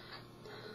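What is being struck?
Nothing is struck.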